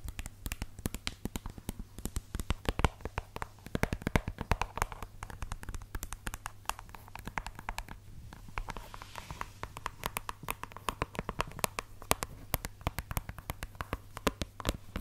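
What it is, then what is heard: Suede high-heel shoe tapped and scratched. Long nails tap and scratch the suede upper and the sole of a red suede stiletto pump held up close to the mic. Rapid, dense clicks and soft scratching run continuously for the whole clip over a low steady hum.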